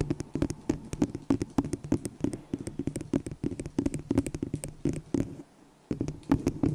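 Long nails tap rapidly and irregularly on a small, hollow, empty white disposable plastic cup held over the microphone. The taps are short, dry clicks with a hollow low-mid body, and a brief pause comes near the end before the tapping resumes.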